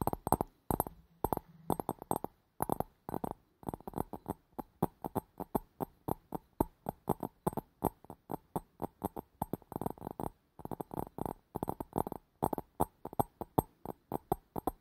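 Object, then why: Glass bowl. A nail and fingertip rapidly tap on a hollow, empty, clear glass bowl with a green rim, held around the mic. About seventy quick, dry taps arrive in uneven bursts, each with a short midrange knock and a faint low thump that dies almost instantly.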